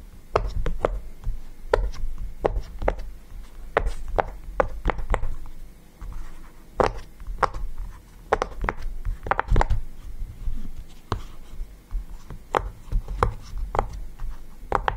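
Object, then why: Silicone pop-it fidget toy. Fingertips press and pop the bubbles of a small yellow round silicone pop-it fidget toy lying on a table. The result is a steady series of short, dry clicks with almost no ring, and each carries a soft low thump.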